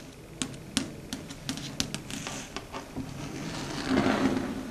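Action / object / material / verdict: tap / chalkboard / slate / none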